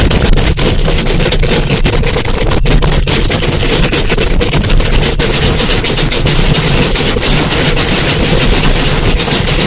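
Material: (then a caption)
Metal mesh. Long acrylic nail tips scratch and tap fast on a hollow metal mesh microphone grille. The result is a loud, continuous, dense rasping crackle with a heavy booming low end and bright, sharp clicks running through the whole clip.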